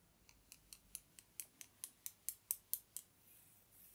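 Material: Bamboo wood.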